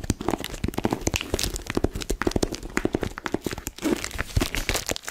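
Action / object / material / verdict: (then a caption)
scrape / cardboard gift box in plastic shrink wrap / plastic film / none. Long acrylic nails scratch and crinkle the clear plastic shrink wrap tightly covering a pink, flat, Mickey-head-shaped cardboard gift box with a teal ribbon bow, held in both hands. A steady run of quick, crisp crackles, scratchy rasps and crinkles comes through with dull low thumps from the cardboard underneath. Each sound is short and close, with almost no ring.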